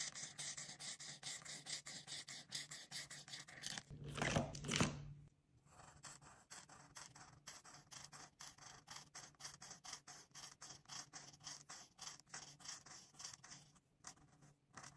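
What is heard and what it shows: A hand with long pink nails scratches a marker's felt tip across a thin white paper coloring book page lying flat, coloring a lime and a chili pepper in quick strokes. Bright, dry scratching strokes repeat about twice a second, swelling into a louder, denser rubbing burst around four to five seconds before settling back into steady, quieter strokes.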